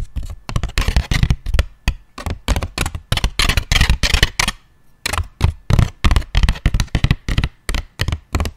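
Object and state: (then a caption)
Flat cardboard box, tapped and scratched. Fingertips and nails tap and scratch the surface of a small, thin, flattened brown corrugated cardboard box held upright in both hands. Around thirty short, dull, low thuds come at an uneven pace, some with a bright, papery scratch, and there is a brief pause just before the midpoint. Each tap dies away almost at once.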